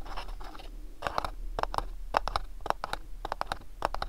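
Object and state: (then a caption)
Cardboard gift box. A small, hollow, house-shaped printed cardboard sleeve box from MyLittleBox is held in both hands while fingernails scratch and tap across its printed surface. A soft, papery scratching opens the clip, then gives way to a series of short, dry, crisp taps and scrapes with a mid-range, hollow papery tone. Each sound stops almost instantly, over a faint low hum.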